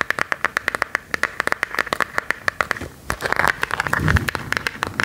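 A smartphone in a hard plastic case with a silver and black decorative print is held up and tapped with long gold metal claw nails. A fast run of sharp, dry clicks has a faint ringing tone around 1.7 kHz. In the last two seconds the taps crowd into denser clicking and scratching, with a brief low thump near the end.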